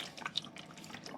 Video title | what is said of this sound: Vintage Craft: Milkweed Bird Ornaments & A WW2 Connection! | there's water in here can you hear it